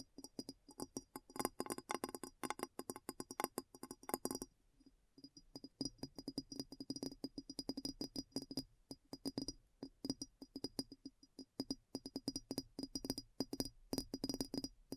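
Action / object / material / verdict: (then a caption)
tap / large glass bowl / glass / none. Long nails tap rapidly on the sides and upturned foot of a large, clear, hollow, empty glass bowl turned upside down. The quick, dry clinks and ticks have a faint tone around 360 Hz and a thin bright edge, each dying away almost instantly. The tapping eases briefly near five seconds, then picks up again in dense bursts.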